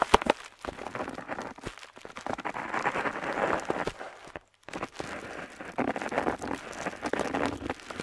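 A metal dip-pen nib scratches along a flat paper map sheet lying on a table as it draws lines near the coast. There are a few sharp taps at the start, then a steady, dry, papery scratching in the mid-range with a bright edge. The scratching pauses briefly just after the halfway point, then resumes in rough, continuous strokes.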